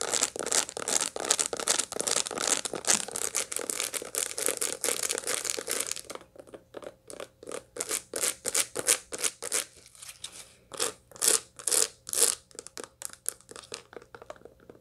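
Long light-blue nails scratch a dried sunflower head still full of seeds, first in close-up and then with the head held in both hands. About six seconds of dense, continuous crunchy scratching gives way to separate quick, bright crunches at an irregular pace. The seeds give a dry, crisp, crackling texture throughout.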